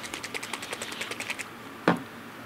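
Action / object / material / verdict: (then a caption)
shake / plastic paint bottle with iron-based paint / paint / none. A bottle of iron-based gray paint from a rust kit is shaken again so the settling paint won't stick, giving about ten quick, light rattling clicks. The rattling is followed by one louder, low knock as it stops.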